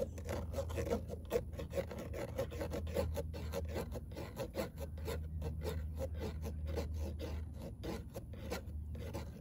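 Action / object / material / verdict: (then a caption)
scrape / perforated metal car door speaker grille / metal / none. Long nail tips scratch rapidly back and forth across a fine-mesh perforated metal speaker grille in a car door, which is hollow behind. The result is a steady, raspy filing sound made of quick repeated strokes, with a faint tone around 490 Hz and a low hollow rumble underneath.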